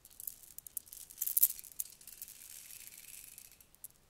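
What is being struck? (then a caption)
Plastic bead necklace. A long strand of shiny red plastic beads is dangled and lowered into a cupped hand, the beads clacking as they pile up. Quick, bright, high clicks patter through the clip, peak in a dense burst about a third of the way in, then settle into a soft, steady rattle.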